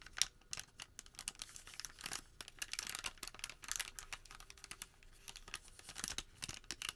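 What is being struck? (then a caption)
Folded thermal paper receipt. A folded white thermal paper receipt packet is squeezed and folded smaller between fingertips and thumbs, giving a quiet run of dense, crisp crinkles. The crackling is bright and high with little low end, each crackle dying away almost instantly.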